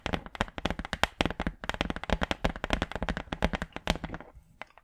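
A large, flat, brown wooden hardboard clipboard, a solid thin board held in front of the mic, is tapped and scratched with long acrylic nails. The result is a rapid, uneven stream of short, dry clicks and taps with a low thud beneath them, thinning out to a few sparse taps at the end.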